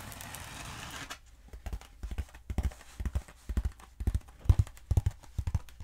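Long nails tap the surface of a long, black, hollow foam pool noodle held upright. A brief steady rustling texture gives way to soft, dull, low-pitched taps that arrive in quick, uneven clusters, each one dying away almost instantly with no ring.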